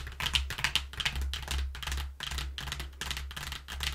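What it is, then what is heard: Cardboard box. Long nails tap quickly and scratch across the flat panels of a flattened brown corrugated cardboard box with a cut-out hole. The result is a dense run of crisp, bright clicks and papery scrapes over a steady low hum.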